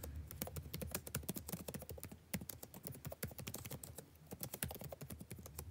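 Fingertips type continuously on a dark laptop's blue-backlit plastic keyboard, giving rapid, dense clicks and taps. Each tap is short and dry with a soft low thump and bright click tops, in an irregular stream with brief pauses.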